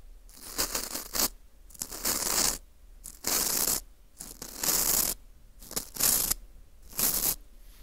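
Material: Baked wheat gluten.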